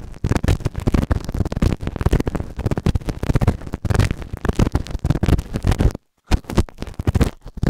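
A white plastic spatula held in the fingers scrapes and scratches inside the ear canal of a solid, grey, moulded silicone ear-shaped binaural microphone (the right ear) on a round base. The result is a dense run of rapid, muffled scratching and rubbing bursts, heavy in low rumbling tones with little brightness, that stops briefly to silence near the six-second mark before resuming.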